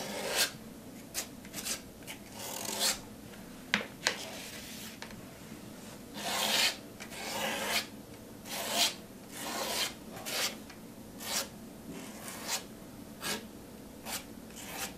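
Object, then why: Plastic palette knife on paint-covered canvas board. A white plastic palette knife, held in the fingers, is scraped and rubbed across a flat white canvas board covered in thick wet pink acrylic paint to spread it. Repeated short, bright rasping strokes stand out above a quiet, steady background, each fading quickly with little low end.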